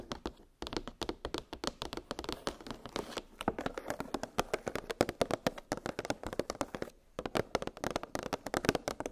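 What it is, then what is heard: Plastic blister package of metal cookie cutters. Long pink nails tap quickly on a clear, hollow plastic clamshell blister package that holds nested metal gingerbread cookie cutters on a cardboard backing. The result is a dense run of short, dry, hollow plastic clicks centred in the midrange, with almost no ring. The tapping pauses briefly near the start and again near the seven-second mark.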